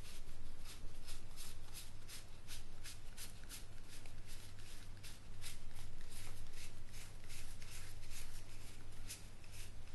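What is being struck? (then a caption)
Deck of laminated cardstock playing cards. A small stack of thin, laminated cardstock game cards is held in both hands and shuffled, the fingertips with dark-painted nails fanning and rubbing the cards against each other while the game box sits still below. Soft, rapid shuffling and rubbing strokes with bright, papery edges repeat over a steady low hum.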